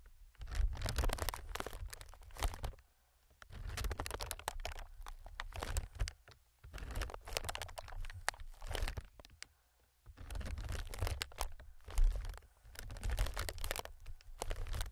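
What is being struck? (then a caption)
Plastic air-filled packing pillows. Fingers and nails scratch, press and crinkle a strip of clear, inflated plastic air packing pillows, several hollow cushions chained together. Bursts of dense crinkling and crunching with a deep low thump come in five stretches, separated by short pauses of near silence.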